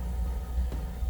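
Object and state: Nothing is struck.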